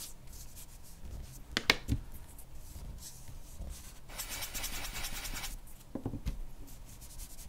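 A charcoal pencil scratches and shades short strokes across a flat white drawing paper sheet bearing a portrait. Quiet dry scratching is broken by a few sharp tick-like strokes, with a longer, steadier bright shading rasp in the middle.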